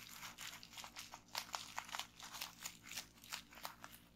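Long painted nails and fingertips press, tap and pop a folded bundle of clear plastic bubble wrap resting on a wooden table. A quick, irregular series of soft, bright crinkles and crackly pops sounds over a faint low hum, each snap dying away almost at once.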